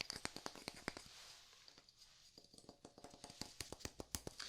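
A wooden block is tapped over and over, giving short, bright clicking knocks that die away almost instantly. The taps come in a steady run, thin out around the middle, then pick up again at a quicker pace, all at a quiet level.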